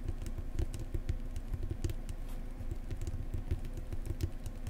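Long nails of both hands tap and scratch the printed card spine of a thick Lonely Planet New Zealand paperback lying flat. The result is a rapid, steady patter of soft, dull, low taps that die away almost at once, with faint bright scratchy ticks running between them.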